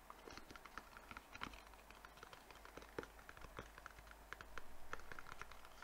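A small white rectangular cardboard box, hollow and held in both hands, is tapped quickly with fingertips and nails on its faces and edges. The result is a quiet, fast, irregular patter of short dry clicks with a light hollow knock, over a steady low hum.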